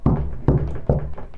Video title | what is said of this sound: Simple Tips to setup any 5 1 Amplifier | ഈ സൗണ്ട് ഇതിന് ഡെൻസിറ്റി ഇല്ലാത്ത മരം കൊണ്ട് ഉണ്ടാക്കിയതിൻ്റെയാണ് ഈ സൗണ്ട്.